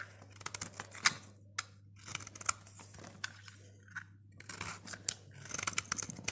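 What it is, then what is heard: Dry soap bar being shaved. A snap-off utility blade shaves and scrapes a dry, solid green Safeguard soap bar with a blue rim, held in the fingers, into curls. Bursts of crisp, bright scraping and rasping alternate with short quiet gaps, with a few sharp clicks standing out over a faint low hum.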